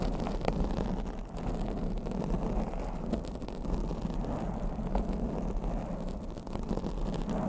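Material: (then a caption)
Foam. Long blue acrylic nails scratch a black foam microphone windscreen from both sides. The result is a steady, muffled, low rumbling rustle with small scratchy ticks and almost no bright content.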